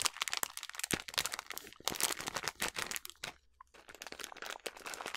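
A filled yellow plastic snack bag of sliced almonds is crumpled and squeezed in the hands. It gives dense, bright crinkling and crunching with many sharp crackles and almost no low end, then a brief quiet gap near the middle before the crinkling resumes.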